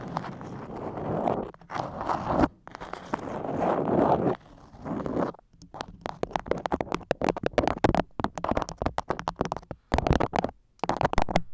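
A floral beeswax-coated cotton food wrap, moulded over a microphone, is scratched and tapped with long acrylic nails. Stretches of dense, crinkly scratching give way to rapid runs of sharp, dry taps and sticky crackles, with most of the energy in the low-mids and little high content.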